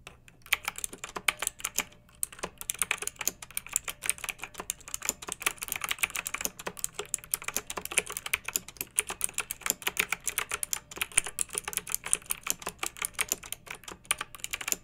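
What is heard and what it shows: A pink backlit plastic mechanical keyboard with round typewriter-style plastic keycaps, resting on a fluffy rug, is typed on with long nails and fingertips of both hands. The result is a steady, fast stream of sharp, bright clicks and clacks that decay almost instantly, with very little low end and no voice.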